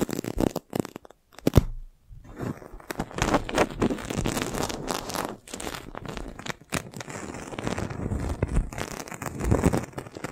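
A clear, thin, hollow, air-filled plastic film balloon is held over a microphone, tapped and scratched with long nails, and pressed with the palm. It makes dense, close crinkling, crunching, and scraping with a heavy, muffled low end, broken by a brief near-silence around the two-second mark.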